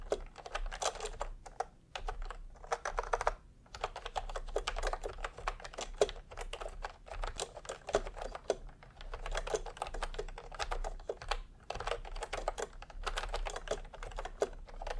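Fingertips of both hands type continuously on a full-size pastel typewriter-style keyboard with round plastic keycaps in a hollow plastic case. The clip is a steady stream of short, dry plastic clacks with a hollow mid-range body, each dying away almost instantly. Brief pauses break the flow near 2, 3.5 and 11.5 seconds.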